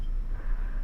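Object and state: Nothing is struck.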